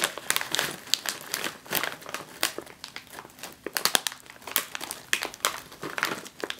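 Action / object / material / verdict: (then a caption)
scrape / foil-lined plastic chip bag / plastic film / none. Both hands with long nails press and crinkle a full, sealed, foil-lined jalapeño chip bag lying on a table. The result is a dense run of bright, crisp plastic crinkles and sharp crackles with almost no low end, each snap dying away instantly.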